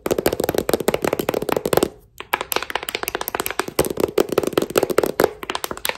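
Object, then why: Paperback book tapped with metal thimbles. A thick, solid paperback novel with a glossy printed cover is held in one hand and tapped on its cover and edge by fingertips wearing gold metal thimbles. Quick, dry clicking taps with a hollow midrange tone come in rapid runs, with a brief pause near the two-second mark. Each tap stops almost instantly with no ring.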